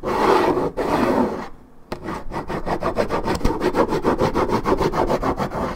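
Long nails scratch back and forth across the top of a hollow, coated-paperboard Minute Maid orange juice carton. A sustained, dry rasping scrape fades into a short pause, then gives way to quick, rhythmic scratching strokes at about three per second, each with a hollow papery bite.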